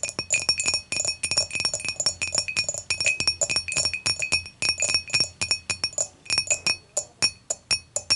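Long matte fingernails tap rapidly on the body and handle of an empty clear dimpled glass beer mug lying on its side, giving a dense run of bright, short clinks. Each tap rings with high glassy tones and fades almost at once, with brief pauses between bursts.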